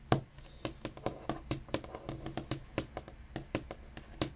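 Curled fingertips and nails of both hands tap a steady, irregular run of about twenty quick taps on a large, flat, solid black desktop, likely laminate or composite board. Each tap is a short, dry knock with a soft low body and a light clicky tick from the nails, dying away almost at once. The sound is quiet and close throughout.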